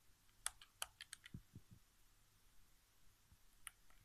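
Fingertips press and tap the buttons of a white, hollow plastic PS4 game controller resting on carpet. Quiet, irregular, sharp bright clicks come in a cluster early on, with a few dull low taps among them. The clicks then thin out to scattered soft ones, and each dies away instantly.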